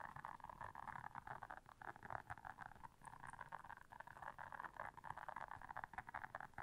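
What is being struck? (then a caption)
Silicone bristle scrubber pad. Long nails quickly scratch and tap the bristles of a blue silicone bristle scrubber pad. The result is a quiet, continuous stream of dense, rapid scratchy clicks concentrated in the midrange, with a faint low rumble underneath.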